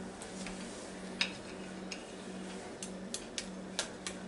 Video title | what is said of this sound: NINJA FOODi and DRUMSTICKS, EVER ONE LOVES A CHICKEN LEG | you hear how crispy it is that's nice and crispy